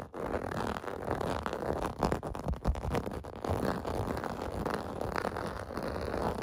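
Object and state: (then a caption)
Plastic bath mat. Fingertips and nails scratch across a large, flat, clear-blue plastic/vinyl bath mat with bubble bumps, lying on carpet. The result is a steady, dense, rough scraping and rasping that stays mostly in the low and middle range, with little bright content and only slight swells in loudness throughout.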